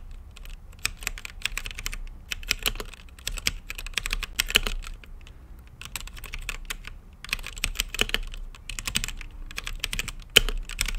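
Fingertips type on a mechanical keyboard with plastic keycaps and a translucent lit case, producing a steady stream of bright, crisp clicks and clacks. The keystrokes come in rapid bursts separated by brief pauses, each one dry and short with a soft low thump beneath it.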